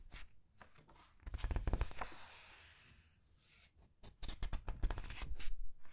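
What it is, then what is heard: Glossy book pages being handled. Fingers with long nails press, squeeze and turn the glossy paper pages of a large art book. Soft crinkles and quick papery flicks come in irregular clusters, with a smoother sliding swish in the middle and a low thumping undertone.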